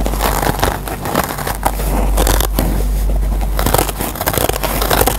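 Fingers squeeze a dry rectangular yellow foam sponge with a green nylon abrasive scouring pad while short nails scratch and pick at the pad fibers. A steady stream of dense, crackly scratching and crinkling bursts runs throughout over a low rumble, with brighter scrapes standing out here and there.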